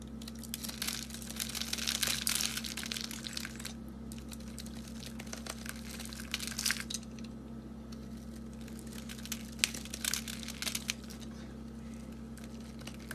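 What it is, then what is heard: Dry soap bar being cut. A dark, solid rectangular soap bar with a grainy, crumbly surface is held in the hand and cut along its edge with a box cutter blade. The result is bright, crunchy crackling and crumbling over a steady low hum, loudest in the first few seconds and returning in short bursts with sharp crisp snaps.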